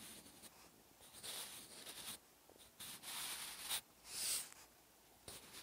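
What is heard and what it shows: A wooden graphite pencil with a blue grip writes Korean handwriting on a thin white page of an open paper notebook resting on a solid backing. The tip scratches across the paper in quiet, bright bursts of strokes separated by short pauses. There is no low-end body, only dry, high scratching.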